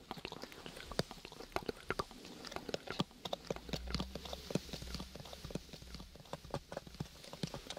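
A small, hollow lilac cardboard gift box with a textured paper covering is held close to the mic and tapped with fingertips and nails. The result is a quiet, uneven stream of short, dry taps and clicks, some soft and thuddy and others sharper and bright, with a faint low hum underneath.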